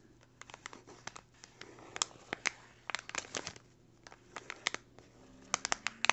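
The tip of a yellow pencil traces and scratches across a small, flat, empty brown kraft paper bag while fingertips hold it down. Dry papery scratching and crinkling are broken by many sharp, crisp ticks and clicks, bright and quick, over a faint steady low hum.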